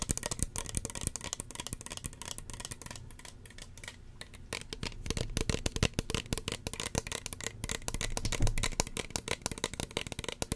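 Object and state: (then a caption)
Plastic spray bottle. A small, hollow red plastic spray bottle with a white plastic pump cap is held in the hand and tapped with long fingernails. The result is a rapid, irregular stream of short, dry clicks and taps with bright edges and a hollow low body. The taps briefly thin out in the middle and then grow denser and louder.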